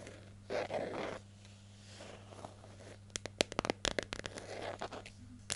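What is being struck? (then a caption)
Plastic jar lid. Long nails scratch and tap the flat lid and edge of a hollow yellow plastic hair gel jar held in hand. Soft, hissy scratching swells come first, followed by a quick run of sharp, dry, bright clicks with almost no ring, all over a faint steady low hum.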